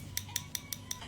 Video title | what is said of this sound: Acrylic Tips, Tricks & Secrets You NEED to Know 💅 - Maskscara Live | Like if I tap on it, you can hear that tapping sound. It's quite hard, but hard enough, but still has some bend in it